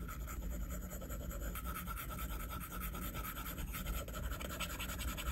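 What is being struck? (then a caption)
Stylus on a glass tablet screen. A plastic stylus tip scratches and taps across a flat glass iPad screen in repeated shading strokes. The result is a steady, continuous scratchy rubbing with a faint tonal band near 1.3 kHz over a dull low rumble.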